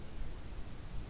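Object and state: Nothing is struck.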